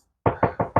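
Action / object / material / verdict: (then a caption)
knock / steel car body panel / steel / muffled. Four knocks on the steel body panel of a BMW E30 325iS EVO1 under restoration give dull, muffled thuds centred around 700 Hz, with little brightness and each dying away quickly. The deadened sound marks this spot as abnormal, pointing to thick body filler under the paint.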